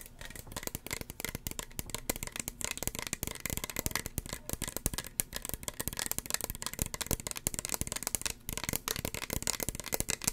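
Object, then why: Small plastic spray bottle. A small, hollow red plastic spray bottle with a white pump cap is tapped rapidly with long fingernails. The result is a dense, continuous stream of short, dry clicks and taps with a bright, crisp edge and a light hollow low knock beneath, each dying away almost instantly.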